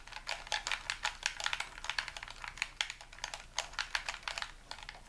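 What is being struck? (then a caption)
Plastic game controller. A white hollow plastic game controller is held in both hands while thumbs and fingertips repeatedly click its buttons and tap its shell. A steady, irregular run of crisp, bright plastic clicks and taps is heard, each dying away almost instantly with very little low end.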